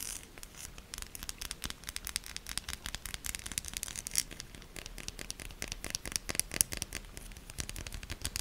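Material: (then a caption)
Soap. A solid pink soap bar has its ribbed and embossed surfaces scratched quickly with long nails. The result is a dense run of sharp, dry, bright scratching clicks with a faint low rumble underneath, and a few louder scrapes stand out.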